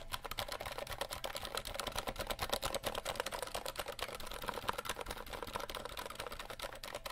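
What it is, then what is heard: Plastic mechanical keyboard. A compact 60% RGB mechanical keyboard with plastic keycaps is held in hand while fingertips tap and type rapidly across the keys. A dense, steady stream of sharp, bright plastic clicks and clacks with almost no ring continues without pause.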